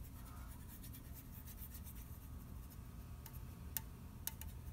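A fingernail taps on the printed side of an unopened red aluminium orange soda can held in the hand. Faint, bright scratchy sounds give way to a few short, sharp ticking taps with a high, thin ring. A steady low rumble sits underneath throughout.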